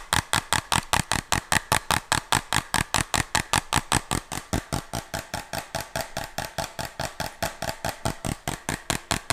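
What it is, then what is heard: Plastic pill bottle tapped with fingernails. Fingernails tap and scratch the body and label of a small, hollow white plastic medicine bottle with a red band and a white cap. A fast, steady run of short, dry clicks with a bright scratchy edge repeats evenly throughout, each one dying away almost instantly.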